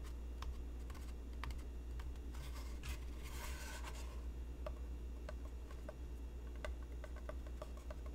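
A medium, hollow white cardboard craft box is held in the hands and tapped on its side with fingertips and nails, giving soft, dry, clicky taps over a steady low hum. Midway there is a brief scratchy rustle, and the box is tilted toward the end.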